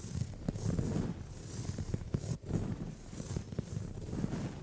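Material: Leather.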